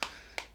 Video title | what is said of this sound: Xiaomi Redmi 7 Unboxing & Hands-On | it definitely sounds like plastic